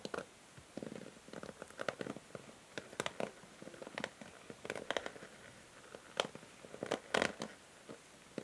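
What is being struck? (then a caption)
Plastic paddle hair brush. Long nails scratch and strum the plastic bristles of a pink and grey plastic paddle hair brush held in hand. Quiet, dry clicks and rustling scrapes come in uneven bursts, with sharp bright ticks standing out over a soft mid-range rasp.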